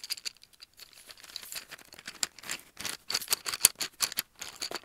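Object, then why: Cardboard tube with pencils inside. Fingernails tap and scratch along a held brown cardboard tube, and at its open end, which is filled with colored pencils. A rapid series of short, dry, bright clicks and scrapes follows one another with almost no low end and no ringing after each hit.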